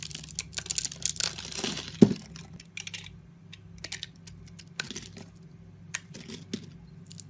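A solid rectangular yellow soap bar with an embossed logo, held in one hand, is scored into a grid of small cubes with a metal utility-knife blade, and the cubes are shaved off and crumble away. Dense, bright scraping and crinkly crackling fill the first two seconds and end in one sharp, louder crack. Sparser short clicks and crumbles follow over a faint steady low hum.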